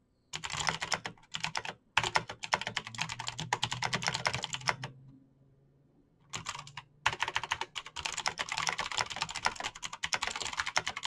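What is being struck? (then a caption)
Plastic mechanical keyboard. Fingertips type fast on a Razer BlackWidow backlit plastic mechanical keyboard with clicky green switches, producing rapid, bright clicking taps. The typing comes in dense bursts with brief pauses, including a longer quiet gap in the middle before fast typing resumes.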